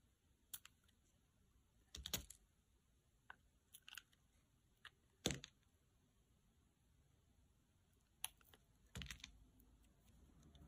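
A solid pale green bar of dry soap, held in the hand, is sliced into thin slabs with a utility knife blade. Sharp, dry crisp cracks and scraping snaps occur in irregular bursts over a quiet background, each with a bright high edge and very little ring.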